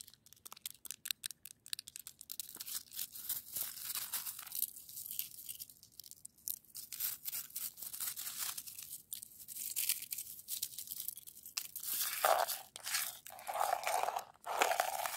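Long nails tap and scratch a solid, crystalline frozen snow crust. A quick run of sharp, bright taps opens the clip, then gives way to dry, crunchy scraping with a crackly, high hiss and almost no low end. Louder grating bursts come near the end.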